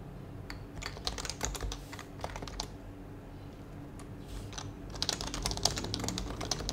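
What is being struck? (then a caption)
Plastic mechanical keyboard. Fingertips type on a white HHKB mechanical keyboard with plastic keycaps and a hollow plastic case, producing sharp, bright plastic clacks in irregular bursts. Typing is busy at first, thins to a near-pause in the middle, then picks up again with a few louder strokes near the end. A steady low hum sits underneath throughout.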